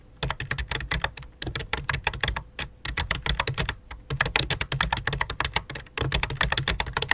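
Two hands with long dark nails type rapidly with their fingertips on a full-size white and light-blue plastic computer keyboard resting on black cloth. Dense runs of short, bright plastic key clicks carry a low thump beneath them, each tap dying away almost instantly, with a brief pause before the typing resumes.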